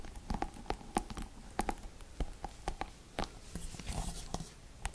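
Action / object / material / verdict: flick / plastic paddle hairbrush / plastic / none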